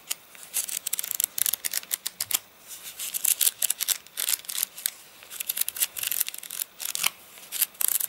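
Fingers riffle and flick through a thick stack of wavy, stiff page edges on a rain-dried paper catalogue. Rapid, crisp crackles and papery flicks come in uneven bursts, bright and thin with almost no low end. Each snap dies away almost at once.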